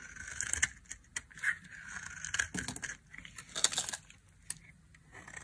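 A solid olive-green olive oil Kernseife soap bar is held in the hand and shaved with a small metal blade, crumbling into dry flakes. Short, bright scraping and crackling bursts come in uneven clusters with quiet gaps between them.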